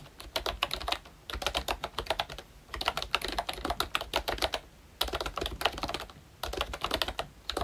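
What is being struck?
Plastic membrane keyboard.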